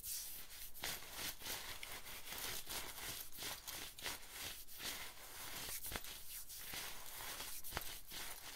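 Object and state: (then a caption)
Nylon jacket fabric being scratched. Fingers and nails scratch and rub the nylon shoulder and upper arm of an olive-green nylon bomber jacket. A steady, rough, bright swishing fills the clip, broken by quick, sharp scraping strokes that cut off almost instantly.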